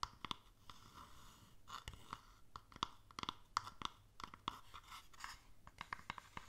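A small, hollow wooden stamp box with contents inside is held tilted while long nails tap and scratch its underside and side. Quick, irregular clicky taps with a hollow tone around 1.1 kHz mix with soft, bright scratching between them. The taps die away almost instantly.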